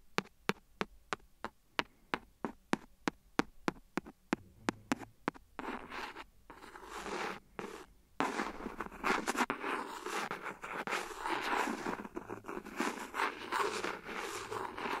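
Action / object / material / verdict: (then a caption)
tap / silicone phone case / silicone / none. The end of a clear plastic pen taps and scratches along the edge of an empty, hollow, thin clear silicone phone case lying flat on the recorder. A steady run of crisp, bright clicking taps comes first, then gives way to dry, hissy scraping. After a brief pause, denser continuous scratching runs to the end.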